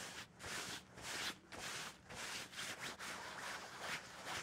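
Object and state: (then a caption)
Cloth bed sheet being scratched and rubbed. Fingertips and nails scratch, rub and bunch a soft white or cream cloth bed sheet with a seam or hem, lying flat on a bed. Dry, bright, hissy scraping strokes rise and fall about twice a second at an uneven pace, with brief quieter gaps between them.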